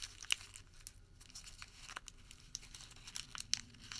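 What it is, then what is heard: Crumpled paper receipt. A small, crumpled white thermal paper receipt is rolled and crinkled between fingertips. It makes quiet, bright crinkling and crackling with scattered sharp snaps over a faint low background hum.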